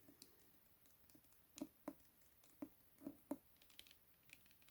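Tapping on the cover of a hardback copy of *The Midnight Library*. Five distinct, dull, hollow taps stand out over quieter light ticks. Each is short and mid-pitched and dies away almost at once.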